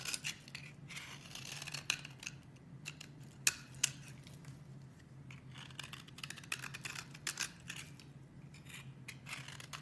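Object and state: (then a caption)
Bar soap being cut. A metal blade scrapes and chops the edge of a solid lilac bar of soap, held by a hand with long red nails, into crumbly flakes. Quiet, bright, dry scratchy crunches come in irregular bursts over a faint low steady hum. Two sharper clicks stand out just before the midpoint.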